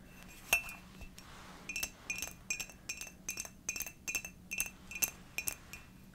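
A hollow, seemingly empty purple and dark glazed ceramic mug is tapped with long dark nails. The sound is a steady series of bright, clinking taps with a high ring around 2.7 kHz, each fading quickly over a faint low hum.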